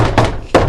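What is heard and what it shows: Two knocks on a thin RV bathroom wall panel, made while searching for the beam where a shelf holder's interior holes should go. Each knock gives a short, low, hollow thunk with a brief ring. The spot sounds hollow, with no beam behind it.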